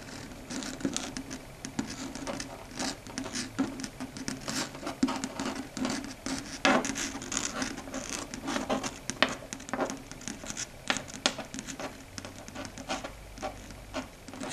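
Long red stiletto nails tap and lightly scratch across a flat, solid dark grey chalkboard surface as the hand shifts position. The result is a quick, dry patter of many clicks and scrapes with very little ring. A steady low hum sits underneath.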